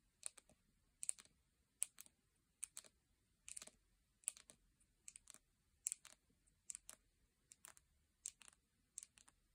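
Long painted nails tap on the lid and sides of a full, round plastic jar of salt scrub with a printed lid, resting on a blanket. About 25 crisp, bright clicks come in quick, irregular clusters of two or three, each dying away almost instantly with almost no low end. Between the soft, quiet taps there is near silence.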